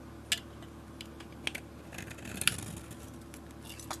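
A utility blade scrapes the blue, galaxy-painted surface off a solid rectangular bar of soap and carves into the pale soap beneath. Short, sharp, bright scraping clicks rise above a quiet, steady low hum, with the strongest cuts near the start and middle.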